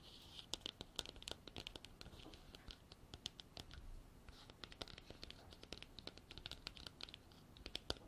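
Long black artificial nails scratch and tap the sides of a hand-sized, hollow, white frosted hard plastic container with an embossed texture and a white cap, which appears empty. Quick, bright, dry scratching rasps mix with sharp little clicks that die away almost instantly, over a soft, low rumble.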